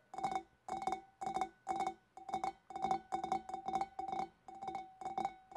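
Long black nails on both hands tap the shoulder near the scalloped rim of a large, clear, empty, hollow glass fish bowl. Quick clusters of bright, clicky taps come in a loose, steady rhythm, each with a short glassy ring centered around 770 Hz that fades almost at once.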